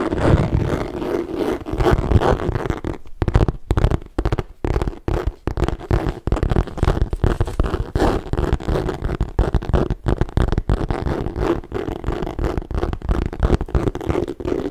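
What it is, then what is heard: Leather handbag, scratched and tapped. Fingertips and long nails tap and scratch the bottom panel of a hollow, apparently empty medium green leather tote handbag with gold metal feet and chain handles, held close to the mic. A dense, continuous run of dull, muffled taps and rasping scratches carries a deep low thump, with a few brief quieter gaps early on. The sound stays close and heavy in the lows with almost no bright top.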